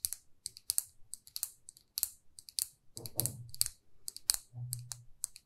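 Long nails tap and scratch a small, glossy red lacquered lipstick tube, making a rapid run of sharp, bright clicks. Two stretches of softer, lower scraping rumble break in midway and near the end. Each tap dies away almost instantly, leaving crisp, dry ticks.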